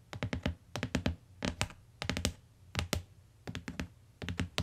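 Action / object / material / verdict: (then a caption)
tap / hardcover book with cardboard cover / cardboard / none. Long fingernails and fingertips tap on the cardboard cover and edge of a closed, solid tan hardcover book lying on a fur rug. Quick bursts of sharp, dry taps come in clusters, each with a low thump and a bright click that dies away almost at once. Short pauses separate the groups.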